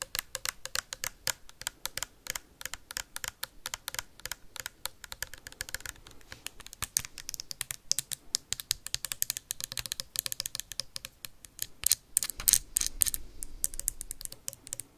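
Metal paperclips worn on the fingertips tap fast on a clear plastic hand sanitizer bottle with a white cap, partly filled with liquid. The result is a dense, steady stream of crisp, bright clicks, like rapid typing, with almost no low end and no ring after each tap.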